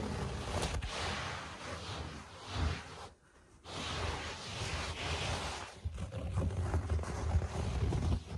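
Fingertips rest on a low-pile speckled carpet and scratch it lightly, with a few strikes. The sound is a steady, dense rustling scratch with a heavy low rumble underneath, briefly dropping to near silence around three seconds before resuming. It ends in uneven, gritty scraping.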